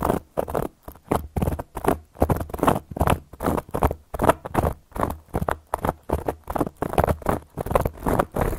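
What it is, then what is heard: Cork board. A round, flat, solid cork board is scratched and tapped by long gold metal claw nail caps, giving a quick, uneven run of short, dry scratching strokes and taps. Each stroke is a brief rasp with a low, muffled body and no ring, separated by moments of near silence.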